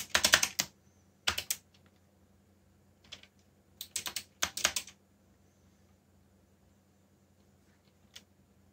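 Both hands type with their fingertips on a backlit mechanical keyboard with black plastic keycaps, producing rapid, bright, crisp key clicks. The clicks come in short bursts separated by pauses, ending with a single isolated click, over a faint steady background hum.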